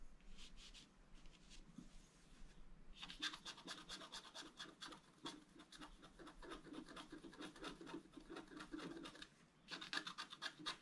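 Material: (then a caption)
Coated card. A wooden stylus scratches the right side of a picture on a flat scratch-art card, black coating over colored foil, held by one hand. Quick, bright, raspy strokes start softly, pause briefly near the three-second mark, then come back denser and steadier, ending in a louder burst of sharp scratches.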